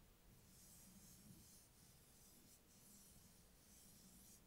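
Fingertips and short nails tap and scratch across the glossy printed hard cardboard cover of a closed, solid A5-size spiral notebook with metal coil binding, lying flat on a table. The result is a quiet, continuous bright scratching and rubbing hiss over a low, steady hum, with no separate taps standing out.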